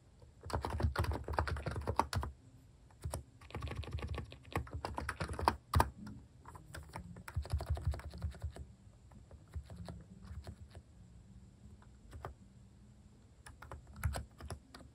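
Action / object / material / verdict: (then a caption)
tap / plastic keycaps on a capacitive keyboard / plastic / none. A hand types with fingertips on the plastic cat keycaps of a capacitive keyboard, producing bursts of soft, quick, dull clicks and thocks that pause and resume. The keystrokes are short and low-weighted, with a faint steady high hiss in the background.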